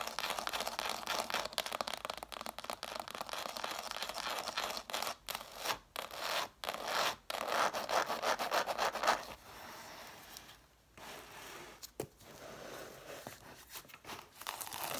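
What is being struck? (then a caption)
Cloth-bound hardcover books, paper page edges. Long nails rub and scratch the page edges and covers of a stack of red cloth-bound hardcover books. The scratching is a dense, raspy, bright texture, with brief pauses and softer, quieter rubbing after about nine seconds.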